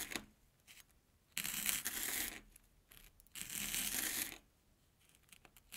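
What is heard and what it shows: A steel kitchen knife slices through an airy Banana Kick corn puff stick resting on an orange plastic board. Two long, bright, crackling crunches, each about a second, come through with small faint ticks before, between and after.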